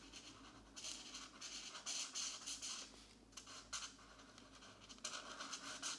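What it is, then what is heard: Marker colouring on paper. A marker scratches colouring strokes onto the thin paper of a mandala page in an open paper coloring book lying flat on a desk mat. Bursts of bright, dry, high scratching come in uneven runs, with brief pauses as the page is adjusted by hand.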